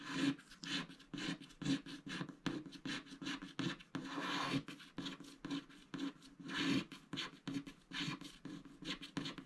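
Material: Coated paper.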